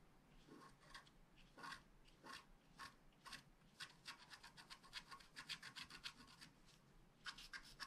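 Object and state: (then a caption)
Scratch art card (wax-coated paper). A wooden stylus rubs and scratches across the flower area of a flat black scratch art card made of wax-coated paper. Quiet, dry, bright scraping strokes come in irregular bursts, some slow and drawn out, others quick and clustered. There is almost no low end or ringing after each stroke.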